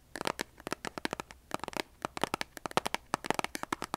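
A large cardboard box of kitchen matches with a striker strip is tapped and scratched with long nails. About 25 quick, crisp, papery taps and scratches sound in an uneven rhythm, each bright and dry, dying away almost instantly over a faint low background hum.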